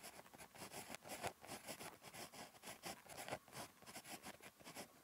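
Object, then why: Paper notebook page under a ballpoint pen. A ballpoint pen tip scratches across a thin, flat lined paper notebook page while writing Korean handwriting. Quiet, papery scratching strokes come in short bursts with a bright hiss. Occasional firmer strokes stand out above the soft, continuous texture.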